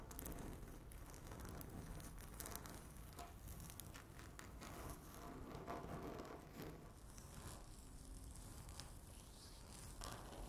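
Long natural nails on both hands scratch and tap across a flat, solid speckled laminate tabletop with a stone-look finish. The sound is a quiet, continuous patter of dry scraping and light ticks, with occasional brighter clicks over a low rumble.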